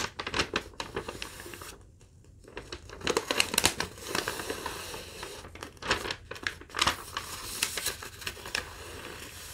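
A single thin sheet of yellow lined legal-pad paper, held in both hands, is folded, rolled, crumpled and crinkled by fingertips with long nails. Dense, bright crackling and rustling bursts fill the clip, broken by a brief quiet pause near the two-second mark.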